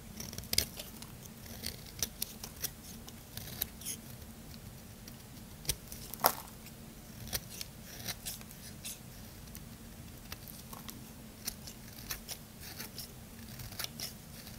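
A small metal blade scrapes shavings off the edge of a solid white rounded bar of soap held in the hand. Crisp, bright scraping clicks come at irregular intervals over a low steady hum. A few sharper cuts stand out.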